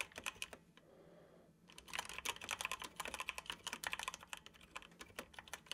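Fingertips of both hands tap the keys of a dark plastic computer keyboard while typing. Quick, bright clicks come in uneven bursts, with a tonal ring around 2.5 kHz. A short pause of soft, steady hiss breaks the typing near the start.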